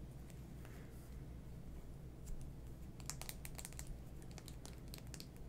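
A small navy plastic lipstick tube with a silver band, a hollow closed case, is held in both hands over a pile of lip products and tapped and rubbed with fingertips and nails. Quiet, scattered, crisp clicks and faint scratches sit over a steady low hum, growing busier in the second half.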